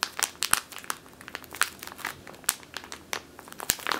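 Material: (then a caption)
Plastic. Long teal nails squeeze and crinkle a medium clear plastic bag with a purple label, full of flour or grain. Dense, sharp crinkles and crackles snap out one after another with no ring, bright and papery with almost no low end.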